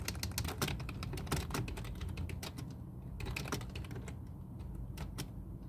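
Both hands type fast with their fingertips on a full-size black plastic computer keyboard resting on a desk. A quick, uneven stream of sharp, bright key clicks plays over a steady low hum.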